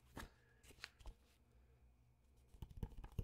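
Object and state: Glossy magazine page.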